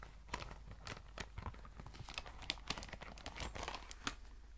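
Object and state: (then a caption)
Faux leather pencil case. Long white nails scratch and tap along the fabric and leather surface of a tan, soft, cylindrical faux leather pencil case, apparently filled, held close to the microphone. Quick, dry crinkling scrapes mix with sharp, bright taps that die away at once over a steady low hum.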